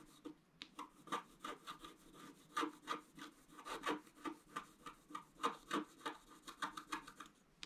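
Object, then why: Black-coated scratch-art paper card scratched with a wooden stylus. A wooden stylus scratches repeated strokes into the basin area of a black-coated scratch-art paper card while fingers hold the card's edge. About two dozen short, dry scraping strokes come in a quick, uneven rhythm of roughly three per second, each with a raspy mid-pitched tone and a brief, quiet tail.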